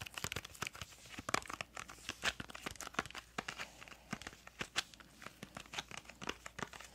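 Long acrylic nails tap and scratch the sides of a small printed yellow-green cardboard crayon box. Quick, dry clicks mix with bright, papery scratching and crinkling in a dense, irregular flurry. The sound is quiet and close, with almost no low end and each tap dying out instantly.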